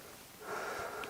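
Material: Nothing is struck.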